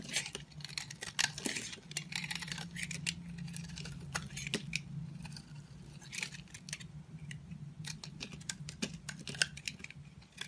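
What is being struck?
Bar of soap carved with a knife.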